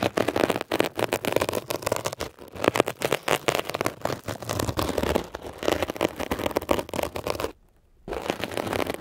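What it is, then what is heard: Textured foam scrub sponge. A metal ear pick scratches rapidly over a blue, mesh-covered textured foam scrub sponge, making a dense, rough crackling and scraping texture across low and bright tones. The scratching runs almost continuously, stops briefly for about half a second near the end, then resumes.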